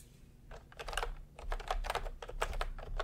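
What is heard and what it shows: Both hands type with their fingertips on a plastic retro round-key keyboard, producing a quick run of short, crisp clacks with a bright click over a low hum. The keystrokes come in bursts, cluster densely, and stop quickly with little ring.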